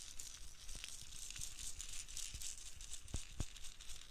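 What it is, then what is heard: Plastic dome filled with loose beads. A clear, hollow plastic dome filled with loose pastel beads is held in both hands close to the microphone, then shaken and tapped with long nails. The beads make a steady, bright, hissy rattle, broken by short, dull taps on the plastic that stand out near the end.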